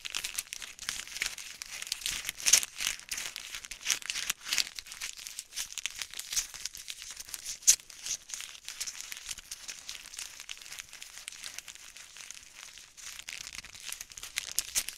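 A small flat white-pink printed plastic wrapper packet is held in both hands in front of the mic and crinkled and squeezed with fingertips and long nails. The result is a dense, continuous run of bright, crisp crinkling and crackling with almost no low end. The crackles are short and dry, with louder snaps near 2.5 and 7.7 seconds.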